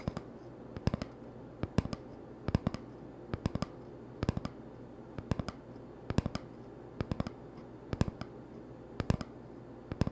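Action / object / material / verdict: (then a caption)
tap / empty cardboard tube / cardboard / none. An empty, hollow cardboard toilet paper tube held in the hand is tapped with fingertips and short nails. About 38 sharp, dry taps come in quick clusters of two to four, each dying away almost instantly. A low, steady hum sits quietly underneath.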